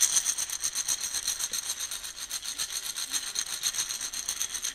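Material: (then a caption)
Coffee beans. Coffee beans roll and rattle inside a round, shallow plastic container held in one hand and swirled and shaken. The result is a steady, bright, granular rustle with a quick pulsing rhythm, almost entirely high-pitched and with no low end.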